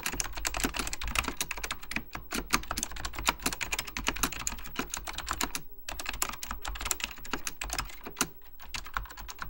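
Fingertips type continuously on a beige plastic full-size Apple Extended Keyboard II, pressing hollow plastic keycaps over mechanical switches. Rapid, crisp clacks with bright, high clicks follow one another in a steady stream, with short pauses around two seconds and just before six seconds. Each key tap dies away almost instantly over a faint low background rumble.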